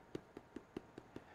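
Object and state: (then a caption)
Hollow-sounding baked loaf of brown bread. The bottom of a turned-over loaf of Irish whole wheat brown bread is tapped six times in a steady rhythm. Each tap is a short, hollow knock centred around 340 Hz that dies away almost at once. The hollow sound shows the bread is cooked through.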